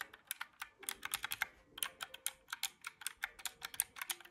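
Fingertips press the round black keys of a small mint-green plastic calculator held in the hand, giving about 24 quick, dry, bright clicks in an uneven typing rhythm. Each tap dies away almost instantly, with no low-end thump.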